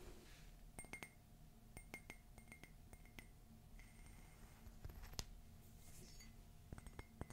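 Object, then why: Ceramic coffee mug. Long fingernails tap a hollow, empty cream matte ceramic coffee mug with a black rim and an engraved "Love is Magical" design. Thirteen sharp, bright clinks ring out in short clusters and die away almost instantly, over a low background hum.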